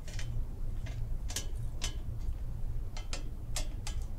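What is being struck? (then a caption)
Perforated sheet-metal pumpkin decoration. A large, hollow, empty pumpkin-shaped decoration made of perforated, grater-like metal sheet with a wire stem is held in the hands and tapped and scratched with long painted fingernails along its ribs and holes. Short, bright, tick-like clicks and scrapes ring only briefly over a steady low rumble.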